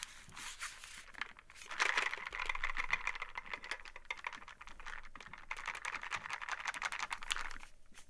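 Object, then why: Small printed cardboard box. Long nails rapidly tap and scratch on a small printed cardboard game box held upright in both hands, possibly holding dice. Dense, dry clicks and crisp scratching with a bright, papery edge centered near 2 kHz sound, each tap dying away almost instantly. The scratching comes in louder, sustained stretches between the quicker patter.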